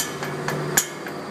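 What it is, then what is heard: Loose exhaust heat shield. A metal exhaust heat shield between the motor and transmission of a transverse-mounted engine is tapped lightly with a tuner, giving sharp, bright, tinny metallic clicks with a short rattle. The rattle shows the shield is loose and confirms it as the source of the noise on acceleration; after the fix, the noise was gone.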